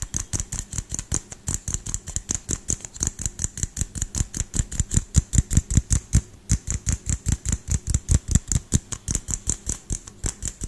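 A small frosted LED light bulb with a hollow plastic dome is held in one hand and tapped quickly with the fingertips and nails of the other hand close to the microphone. About 56 rapid, slightly uneven taps each give a short, dull thump with a bright, crisp tick on top. Each tap dies away almost at once.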